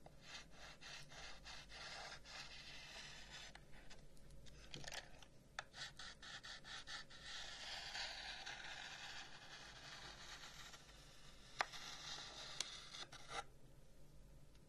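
A long, hollow carved wooden incense box is held in one hand while the fingers of the other rub and scratch along its carved lid. The result is a soft, steady, bright scraping hiss with rapid dry ticks as the fingers catch the carving, and a few sharper clicks toward the end.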